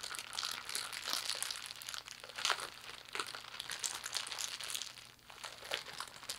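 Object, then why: Thin clear plastic bag. A thin clear plastic bag with small items visible inside is squeezed and crinkled by hands and fingertips. The result is a steady, bright crinkling and crackling texture with dense rapid clicks, short crunchy bursts, and a brief quieter dip near the end.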